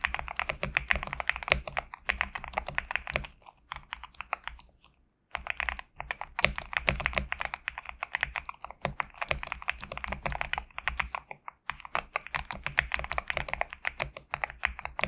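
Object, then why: Mechanical keyboard with PBT plastic keycaps. Fingertips type on a compact GMK67 mechanical keyboard with PBT plastic keycaps resting on a desk mat. The result is a steady run of short, bright, clacky keystrokes, with a brief pause around four to five seconds and a shorter one near eleven and a half seconds.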